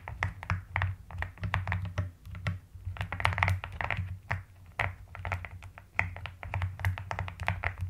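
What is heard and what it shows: Long nails and fingertips tap and type across the plastic keycaps of a pastel mechanical keyboard, producing a rapid, uneven stream of short clicks with a bright midrange snap. A steady low hum sits beneath the keystrokes throughout.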